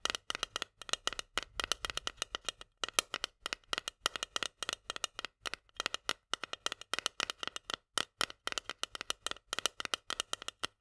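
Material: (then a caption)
Steel. A long nail rapidly taps and scratches on the metal lid and rim of a small, full steel can of corn held tilted. The result is a dense stream of quick, bright metallic clicks with almost no ring. Faint scraping runs between the taps.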